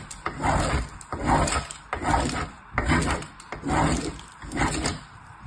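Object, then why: Soap bar on metal box grater. A small purple bar of soap is rubbed by fingertips with long nails in repeated strokes across the perforated face of a painted, hollow metal box grater held steady by the other hand. Six rhythmic rasping, gritty grating strokes are heard, each with a low, hollow body beneath the scratchy texture. Short quiet gaps separate them.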